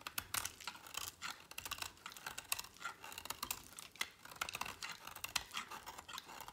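A utility knife blade slices and scrapes through a small remaining piece of dry, solid green bar soap. It makes a rapid run of crisp, dry cutting clicks and scratches that are bright and high with almost no low end. Each cut stops sharply with no ring.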